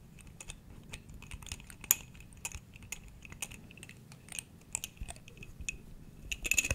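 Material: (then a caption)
Glass. A small, clear, hollow glass jar that appears empty, with its lid off, is held in one hand and tapped close to the mic with the fingertips of the other. The result is a quiet, irregular series of short, bright, clicky taps that stop almost instantly, over a faint low rumble, with a flurry of quicker taps at the end.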